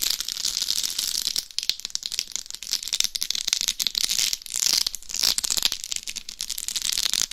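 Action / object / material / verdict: scrape / dummy head microphone covered in glass or acrylic rhinestones / rhinestones / none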